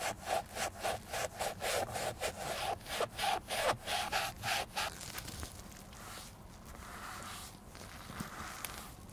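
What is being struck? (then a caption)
Leather shoe. Gloved hands hold a hollow, empty black leather shoe while a dark cloth pad rubs its upper near the heel. Quick, regular back-and-forth strokes make a scratchy swishing with a squeaky tone around 760 Hz for the first five seconds. The rubbing then turns softer and smoother, becoming a steady hiss with only faint strokes.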